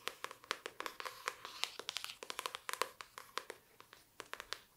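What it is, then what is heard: Hardcover book. Long dark nails tap and scratch the floral printed cover and spine of a hardcover book, "World of Wonders", held up in the hand. Quick, bright, clicky taps come in an irregular stream with short scratchy strokes between them. Each tap dies almost instantly, with no low-end thump.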